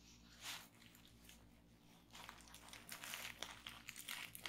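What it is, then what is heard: Plastic bubble wrap. A large sheet of clear plastic bubble wrap, partly rolled on a table, is pressed, popped and scratched by fingertips and long nails. Soft, bright crinkling and scratching builds into a dense run of sharp, crisp pops and crackles, growing busier toward the end over a faint low hum.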